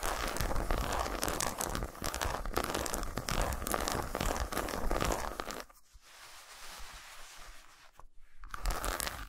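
Long nails scratch and tap a solid milk chocolate bar resting on a towel, making fast, dense crackly scratches and taps. Around the middle the sound drops to a softer, quieter rustle, then the bar is rotated lengthwise and the louder scratching returns at the end.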